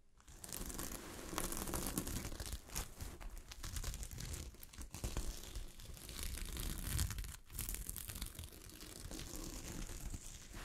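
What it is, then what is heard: Gold sequin fabric. Long fingernails scratch and brush against the grain of a sheet of fabric covered with small gold sequins. The result is a dense, continuous crinkly rasping and rustling, with a bright hiss on top and a heavier scrape underneath. The sound dips briefly a few times before resuming.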